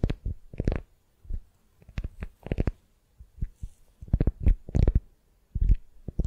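A beeswax-coated cotton wrap around a solid wooden sphere is held in hand while long nails scratch and squeeze the sticky wrap. Short, dull crackling bursts come in irregular clusters with brief quiet gaps, mostly low and muffled, with faint brighter crinkle edges.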